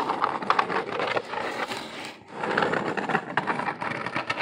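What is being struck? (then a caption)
Corrugated cardboard box. Fingers scratch and tap the surface of a hollow corrugated cardboard box held close to the microphone. Dense, papery scratching, centred in the midrange with bright edges, is broken by quick dry taps that die away almost at once. The sound pauses briefly about halfway through, then resumes just as busy.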